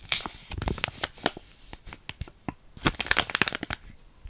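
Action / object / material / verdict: scrape / small sealed plastic foil sachet / plastic foil / none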